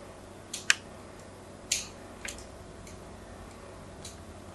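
A metal blade scores a solid white bar of soap held in the hand, making repeated diagonal cuts. Five short, crisp, bright scraping clicks stand out at uneven intervals over a quiet, steady hiss.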